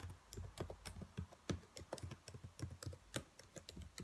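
Fingertips with long nails tap and type on the keys of a black plastic laptop keyboard. A quick, irregular run of soft clacks sounds, each with a dull low thud and a bright click on top. Every tap dies away almost at once.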